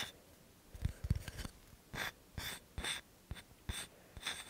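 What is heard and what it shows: A small, solid, round, flat light-tan cork coaster (possibly light wood) is held in both hands close to the microphone and tapped and scratched with fingertips and nails. A quick cluster of soft, dull, low taps gives way to short, bright, raspy scratching strokes separated by brief pauses. Each sound stops dead with no ring.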